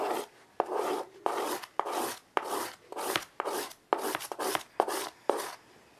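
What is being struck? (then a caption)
Chalk on a wood-framed chalkboard. A child draws fast, repeated curved strokes with white chalk on a small wood-framed chalkboard resting on carpet. Each stroke begins with a sharp tap and slides into a short, scratchy rasp with a mid-range body and bright edge. The strokes repeat in a steady rhythm, with brief quiet gaps between them.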